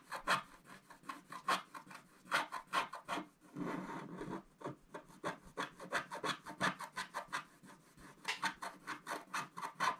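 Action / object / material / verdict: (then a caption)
scrape / black-coated scratch-art card scratched with a wooden stylus / coated card / none. A wooden stylus scratches across a flat, black-coated scratch-art card in quick, short strokes. It makes dry, bright rasping sounds centered around 1.4 kHz, broken by a longer continuous rub in the middle before the rapid strokes resume.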